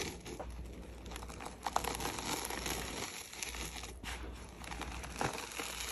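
Gloved hands scoop and crumble crushed red gym chalk, a dry pinkish powder, over a plate and let it pour down. The result is a steady, soft, dense crinkling and crackling with a bright hiss, broken by a few sharper crunchy snaps.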